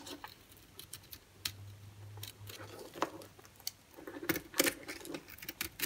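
A solid white bar of soap held in the hand is carved with a utility-knife blade, and the flakes fall onto a pile. Soft, irregular scraping and crisp ticking cuts patter along with bright edges. Some strokes are louder and fuller near the end, and a low steady hum runs under the middle.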